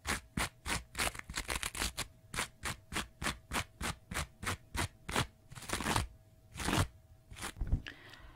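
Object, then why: Kitchen sponge with abrasive scouring side. Fingernails scratch the green abrasive scouring side of a small kitchen sponge, facing out, in about two dozen short, rough, bristly strokes. The strokes are broadband and bright, with a low rumble underneath. Toward the end, a few longer scrapes and a softer crinkling tail follow.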